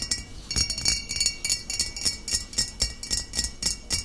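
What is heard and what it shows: Long nails tap the body and shoulder of a full glass bottle of cider vinegar standing upright. The result is a quick, uneven run of bright, clinking taps, each with a short, high glassy ring that fades almost at once.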